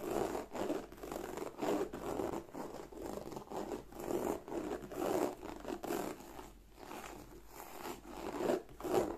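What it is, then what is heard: Croc-embossed leather bag. Long nails scratch firmly across the textured scales of a black, glossy croc-embossed leather bag. The result is a string of dry, rasping strokes with a warm midrange body, repeating at an uneven pace and swelling and fading with each pass.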